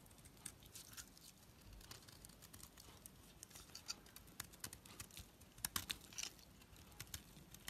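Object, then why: Bar of soap under a knife blade. A knife blade shaves and scrapes curls from the surface of a solid, hand-held white soap bar with a black outer coating. The result is a quiet, steady stream of bright, crisp scratching and crackling ticks over a soft low rustle. Sharper clicks cluster toward the end.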